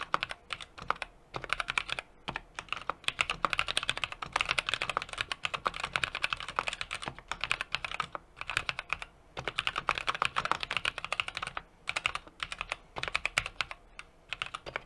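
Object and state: Mechanical keyboard being typed on.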